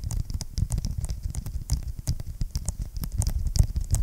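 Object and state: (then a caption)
Vinyl-covered ring binder. Fingertips and short nails tap and scratch the cover of a large closed blue vinyl-covered ring binder with a hard board inside, held upright. The result is a rapid, uneven patter of dull, low thuds with brief scratchy ticks on top, each tap dying away almost at once.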